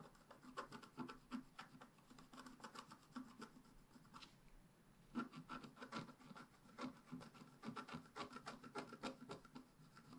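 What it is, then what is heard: Scratch-art paper being scratched. A wooden stick scratches the coating of a black-coated scratch-art paper page held flat by hand, in short strokes. Quick, dry rasping scrapes come in dense bursts with a brief quiet pause near the middle, each stroke carrying a faint low hum under a scratchy upper edge.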